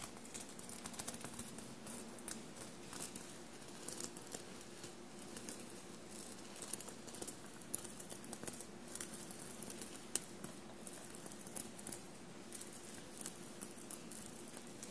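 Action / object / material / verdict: tap / fabric shirt covered in small metal sequins / fabric, sequins / none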